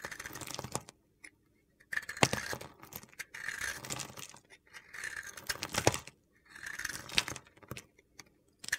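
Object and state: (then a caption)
Glitter-coated bar soap being carved. A utility knife blade carves an oval, solid white bar of soap coated in gold glitter. Bursts of crunchy, gritty scraping come in separate passes with short silences between them, as flakes break off and fall.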